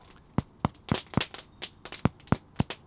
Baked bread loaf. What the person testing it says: if it sounds Hollow so you can hear that that sounds hollow inside it means the bread would be nice and baked inside